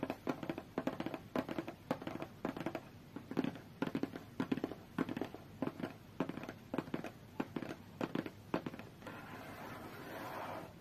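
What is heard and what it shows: Long fingernails tap and scratch the top of a closed, hollow, medium-sized white cardboard tablet box, making quick, dry clicks in uneven bursts with a hollow, mid-low body. Near the end the tapping gives way to a steady, softer scratching rustle.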